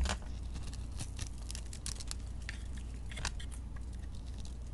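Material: Soap.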